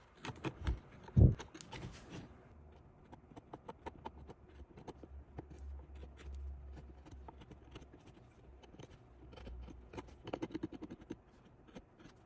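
A small metal prybar blade, held in the fingertips, scrapes and scratches around the beard and eyes of a small solid carved wooden greenman face mounted on a plywood backing. Close, dry scratches and quick ticking clicks run throughout over a low, steady hum, with a sharper knock near the start and a busier burst of scraping near the end.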